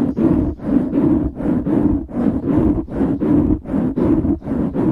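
Fingertips scratch the sides of a black foam windscreen on a microphone in a steady back-and-forth rhythm, making about twelve dull, close rasping swells with a few brief dips between strokes. The sound is muffled and warm, centered around a low-mid hum near 270 Hz with a rumbling low end and almost no bright top.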